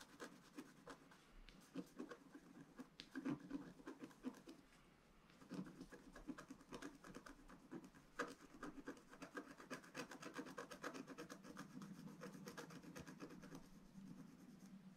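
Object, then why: Scratch-art paper sheet scratched with a wooden stylus. A pointed wooden stylus, held in the right hand, scratches a flat black-coated scratch-art paper sheet lying on a table. Quiet, dense, dry scratching and rubbing strokes run throughout, with short bursts of rasping texture and a few slightly louder strokes.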